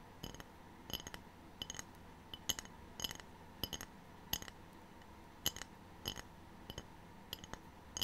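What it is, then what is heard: Ceramic tray. A ceramic tray is tapped repeatedly, giving short, bright, glassy clinks that ring around 3 kHz and die away almost at once. The taps come in small clusters over a low, steady background hiss, with no speech.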